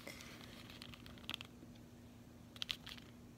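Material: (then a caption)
Cardboard. Long nails tap and scratch the back and edge of a closed cardboard chocolate bar sleeve, which is held in both hands and turned over. Quiet, dry scratching runs throughout, broken by sharp, bright tapping clicks that bunch near the middle and the end. Each tap dies away almost at once over a faint low hum.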